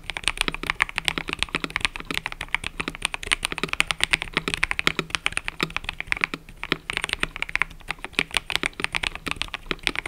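Fingertips type continuously on a mechanical keyboard with cream and purple plastic keycaps. They produce a rapid, steady stream of short, crisp clacks that are bright, with little low end, and each keystroke dies away almost instantly. The typing briefly thins out around the six-and-a-half-second mark, then resumes at full pace.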